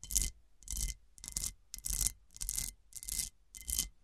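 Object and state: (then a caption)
Cut glass serving dish. Long nails scratch and rub across the textured facets of an overturned, hollow, round cut-crystal glass serving dish. The result is seven separate bursts of bright, gritty scraping, each carrying a faint glassy ring, with quiet pauses between them.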